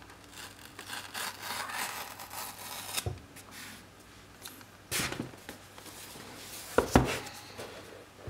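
Fingertips rub, slide and scratch along the surfaces and edges of a small, hollow, rectangular cardboard retail box for a Sonos Roam speaker, with the speaker inside, while both hands turn the box and pick and peel a black tab. Soft, bright, papery scraping and rustling continue throughout, broken by a few sharper scratches and ticks near the middle and later in the clip, with a faint low hum underneath.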